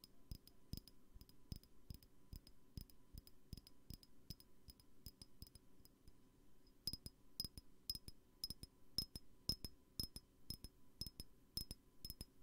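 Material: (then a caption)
Glass. A glass perfume bottle is tapped repeatedly in a loose, uneven rhythm. Each tap gives a short, bright glassy clink that barely rings. The taps are quieter in the first half and get sharper and louder after about seven seconds.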